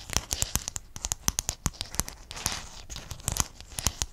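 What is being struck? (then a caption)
Sheet of small hexagonal mosaic tiles. Fingertips and nails scratch and tap across a sheet of small silver-blue hexagonal mosaic tiles held close in front of the microphone. The result is a rapid, uneven run of sharp, bright clicks and ticks over a dry, crackly scraping texture, with each tap dying away almost instantly.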